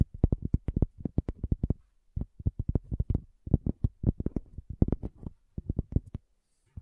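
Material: Cork.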